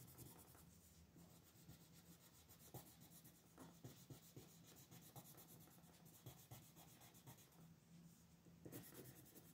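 A pink colored pencil with a wooden body is rubbed in shading strokes over a thin paper coloring sheet lying flat on a desk, with the other hand resting on the sheet and the same pencil used throughout. The sound is a quiet, steady, dry scratching rasp with soft stroke accents rising and falling. A faint low hum sits underneath.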